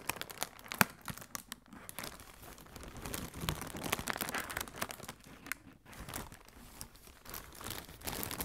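Fingertips with red nails squeeze and crinkle a hollow strip of blue plastic air cushion packaging. The result is a steady stream of bright, dry crinkling and crackling with quick snapping spikes, one sharp crack standing out near the start.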